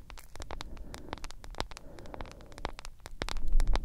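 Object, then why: Smartphone with plastic case and glass screen. Long nails scratch and tap on a solid smartphone with a glass screen in a yellow plastic case. Quick, sharp clicks and scratchy ticks land in an uneven rhythm over a steady low rumble. The sound grows louder toward the end.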